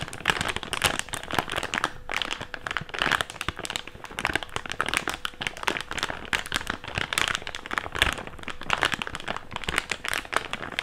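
An empty, hand-sized thick clear plastic bag is stretched and crinkled between the fingertips of both hands. It makes dense, continuous crinkling full of bright, sharp crackles and quick snaps. A faint steady tone sits underneath throughout.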